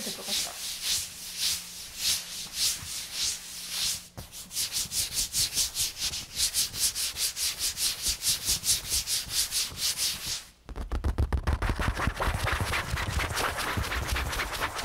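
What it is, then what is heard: Leather armchair, rubbed and scratched. Fingertips and a palm rub and scratch across the seat and backrest of a large, soft, padded armchair upholstered in smooth red leather or faux leather, with the microphone held close. Quick, rhythmic, bright scratching strokes repeat in bursts, pausing briefly around four seconds and again near ten and a half seconds. The final stretch is louder and denser, with a fuller low thump under the scratching.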